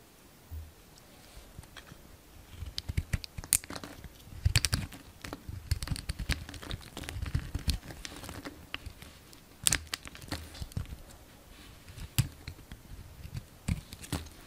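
A solid green and white bar of soap, held in the hand, is shaved and carved with a yellow utility knife. Dense, crisp scraping and crackling cuts come with sharp bright clicks and soft low thumps. They arrive in irregular bursts that grow busier midway, with a few louder snaps standing out.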